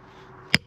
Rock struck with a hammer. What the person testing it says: 下から空っぽの音がしているからね。後ろから空っぽの音がしているよ